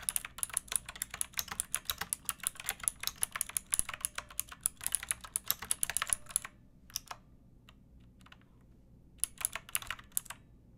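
A backlit pink mechanical keyboard with round plastic keycaps and a hollow plastic case is typed on with long nails and fingertips. A fast run of bright, crisp clicks with a high tick in each press lasts about six seconds, then a few sparse taps follow, a near-silent pause, and a short final burst.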